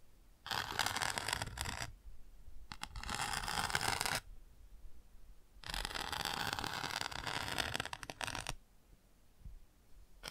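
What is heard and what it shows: A bamboo ear pick scratches and taps on the textured chick page of an open cardboard board book. Bursts of dry, bright scratching come in several long passes, separated by quieter pauses with faint light taps.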